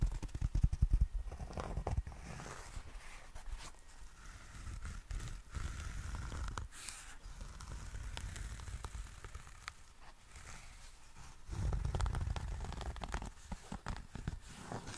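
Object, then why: Fabric-covered zippered case. Fingertips scratch the fabric surface of a small, hollow, grey herringbone tweed zippered nail clipper case, then turn it and handle it near the zipper edge. The result is a dense, low, crackling rustle of quick irregular scrapes, loudest at the start and again in a thicker burst near the end.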